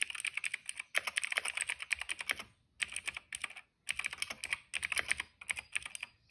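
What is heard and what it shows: Fingertips type on a cream plastic retro mechanical keyboard with plastic keycaps and a hollow case. Its bright, dry clicks come in rapid bursts, with brief pauses around the middle of the clip, and each keystroke stops almost instantly.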